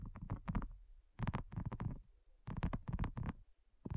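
Long nails tap on a thin, solid, flat, round pink dotted silicone coaster. The taps come in quick bursts of soft, dull, low thuds that die away almost instantly, with short pauses between the bursts.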